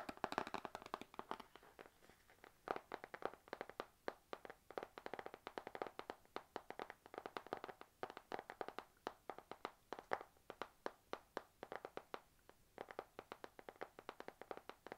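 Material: Laminated card.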